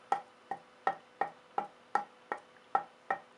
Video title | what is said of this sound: Luthier Wood Review: Purpleheart dense hardwood beautiful color hard to work with tonewood | You can work it through the piece, you can hear the dink.